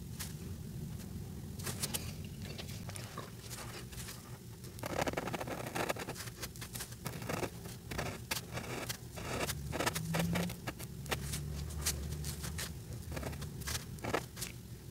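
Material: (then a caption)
Paper. The brush tip of a white alcohol marker rubs across a flat paper coloring page, making short scratchy strokes on Santa's beard. Quick, bright, dry scratches come in uneven bursts over a steady low hum, louder around the middle of the clip.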